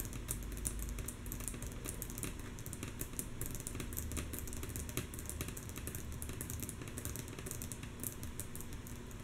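Long natural nails of both hands tap rhythmically on a flat, solid, light wooden tabletop. The taps are mostly soft: quick, bright, clicky ticks repeat steadily over a continuous low rumble for about nine seconds.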